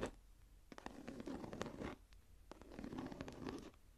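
Long nails scratch and tap the raised geometric star emboss on a closed, dark brown leather journal lying flat. Two passes of dry, crackly scratching with sharp little tap clicks are separated by a brief pause. The sound stays quiet and close, centered in the low mids.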